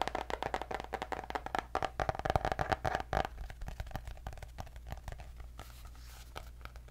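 Long nails rapidly tap and scratch the cardboard cover of a white hardcover paper notebook with gold dots. The quick, irregular clicks and scrapes sit over a steady low hum. A faint mid tone runs through the first half before the tapping grows softer and sparser.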